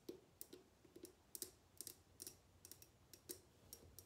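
Long painted nails tap and click on the body of a tall, clear, mostly empty glass bottle held in the hands. The result is a quiet, uneven series of short, bright clicks, each with a faint low glassy knock underneath that dies away almost at once.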